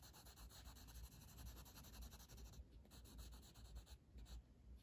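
A blue wooden colored pencil, held in the fingers, shades with steady back-and-forth strokes across a flat paper coloring book page resting on a table. The result is a soft, continuous scratchy rubbing with a low rumble underneath and faint bright hiss on top, pulsing with each stroke and easing into quieter gaps near the end.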